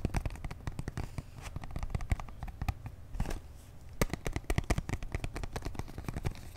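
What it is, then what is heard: Cardboard box tapped and scratched. A small, hollow, purple printed cardboard box holding a makeup brush set is held in both hands and tapped and scratched with fingertips and short nails. The result is a dense run of short, dry, hollow taps with a low thump and quick bright clicks, mixed with soft scratching and rustling between them.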